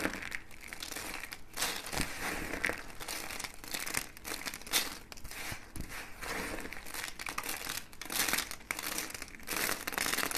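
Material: Soap.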